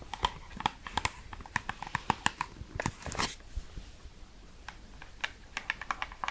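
Long red acrylic nails tap and scratch a small, hollow, light-blue printed cardboard skincare box held in the hand. Quick, dry, hollow clicks with a light papery ring come in uneven bursts, with a short scratchy rustle in the middle. Each tap dies away almost instantly.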